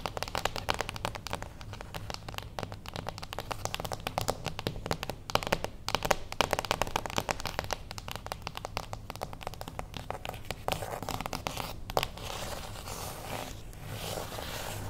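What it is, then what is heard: Cardboard box tapped and scratched with fingernails. Long acrylic nails tap rapidly and lightly scratch a small, closed beige cardboard gift box standing on its edge. Dense, dry, crisp clicks run steadily throughout with a faint low hum beneath. Toward the end, the taps give way to a softer, hissy scratching texture.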